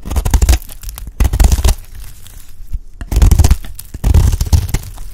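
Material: Soap.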